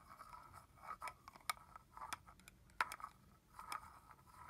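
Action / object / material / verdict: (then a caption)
tap / plastic spray bottle with cap / plastic / none. Fingernails scratch and tap the cap and shoulder of a red plastic body mist bottle holding liquid. Quiet, dry scratching centered in the midrange is broken by sharp, bright clicks of the taps, each dying away almost instantly. The taps come at an uneven pace.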